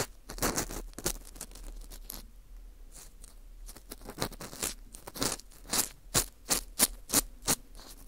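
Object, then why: Dried wheat gluten (fu) ring scraped with a plastic pick. An orange plastic earpick scrapes inside the hole of a porous dried wheat gluten ring (fu) held in gloved hands. It makes dry, bright, crunchy scratching strokes, first in quick overlapping rubs and then as separate sharp scrapes coming at a steady pace toward the end.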